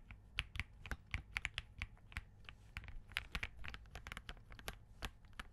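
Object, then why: Mechanical keyboard with plastic keycaps. A compact Spark67 mechanical keyboard with Crane switches and green plastic keycaps is typed on continuously with the fingertips of both hands. Rapid, irregular keystrokes produce short, sharp, bright clacks with almost no ring, over a steady low hum.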